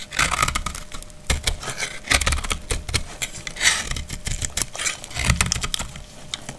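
A dry, solid, translucent glycerin soap bar held in the palm is cut with a metal utility blade, scraping off crumbly shavings. Repeated bright, crackly scraping strokes come in quick irregular bursts with low dull thuds underneath, each sound stopping almost at once.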